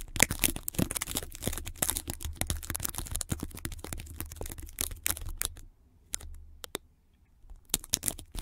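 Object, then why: Adhesive tape wound around a microphone. Long glittery red nails and fingertips scratch, tap and press a band of white sticky tape wound around a foam-topped microphone. Dense, bright crackling clicks and sticky peeling sounds ride over a low rumble. The sound thins to a few isolated taps near the end before picking up again.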